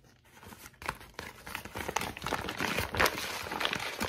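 A heavily wrinkled, thin white lined notebook page with a spiral-torn edge is scrunched and crinkled between both hands, worked with the fingertips and long pink nails. Dense, bright crackling and irregular sharp crunches grow steadily louder, with quick snaps that die away almost instantly.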